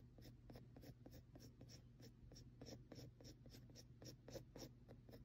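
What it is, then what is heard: Pencil stippling on textured paper. A mechanical pencil tip taps and scratches rapid stipple marks onto a flat sheet of textured drawing paper covered in dense graphite shading. Quick, dry, bright ticks and short scratches repeat at an uneven pace over a steady low hum.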